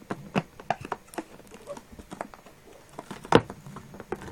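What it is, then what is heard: Rubber balloon. A small, filled red latex balloon with a neck ring is pressed and squeezed against a table with damp palms and fingers. A quick, irregular series of short rubbery squeaks and soft smacking patters follows, with the loudest squeak near the end.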